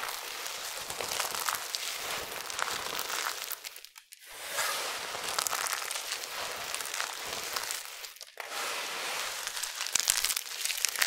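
A heap of thin, brittle amber soap flakes is raked and rubbed by starch-dusted fingers with long nails, then scooped up in cupped hands. The result is a steady, bright crinkling and crackling with dense high rustle and no low end. The sound pauses briefly near four seconds and again near eight.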